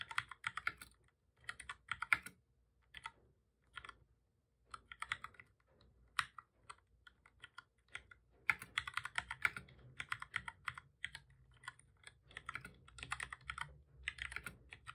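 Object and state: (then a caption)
Plastic computer keyboard being typed on. Both hands type steadily with their fingertips on a full-size black plastic computer keyboard with a hollow body, resting on a desk. Quick, bright plastic key taps come in bursts, separated by short pauses. Each click dies away almost at once.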